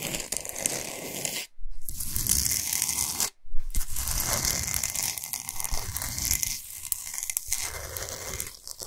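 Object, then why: Salt block. Long nails scratch fast across a large, flat, solid pink Himalayan salt block, with the hands moving quickly. The result is a dense, gritty, continuous rasping with bright high hiss and low rumble, broken by two brief silences around 1.5 and 3.4 seconds.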